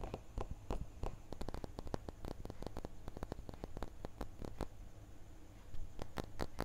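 A small, solid, clear laser-engraved glass crystal block is tilted in the hand and tapped and scratched with fingertips and nails. Quick, sharp clicks and ticks come in rapid, irregular bursts. A steady low hum sits underneath throughout.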